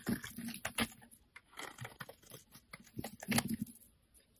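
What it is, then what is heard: Bar soap shaved with a blade. A utility knife blade shaves a solid pale green bar of soap held in the hand, curling it into flakes. Short, crisp scraping strokes come in uneven bursts, with bright rasping edges over a soft low body and quiet gaps between cuts.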